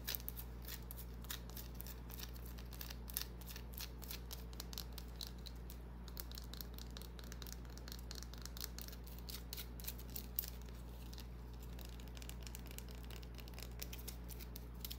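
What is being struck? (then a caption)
Small bar of soap. Long nails scratch and tap a small, solid white bar of soap held in the hand, making a rapid series of short, bright clicks and scratchy strokes. The taps are quiet and die away almost instantly over a steady low hum that runs through the whole clip.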